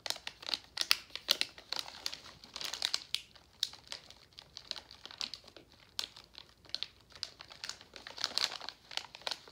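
A full pink Nerds plastic foil candy pouch is bent and crinkled by hand. Dense bursts of sharp, bright crackling come in quick, uneven clusters, with almost nothing in the low end and each crackle cutting off instantly.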